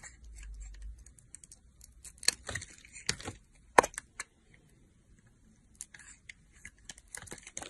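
A metal box-cutter blade, held in a hand with long nails, carves slices from a solid teal soap bar, cutting and scraping through it. Short, crisp, bright scraping and snapping sounds come at irregular intervals, with the sharpest snap just before the four-second mark. A faint low hum sits under the first second.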